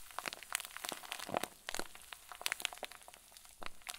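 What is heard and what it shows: A clear plastic zip bag full of white fluffy filling is twisted and squeezed tightly in both fists. It makes a dense run of bright, crisp crinkles and sharp crackles that overlap with little ring, over a quiet background.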